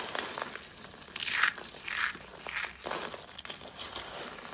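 Both hands press, squeeze and crush small, brittle pieces of dry pink soap shavings and flakes in a bowl with their fingertips. The sound is a dry, bright crunching and crinkling, with the loudest burst of crackle early on and smaller crunchy swells after it. Faint crackles continue in between.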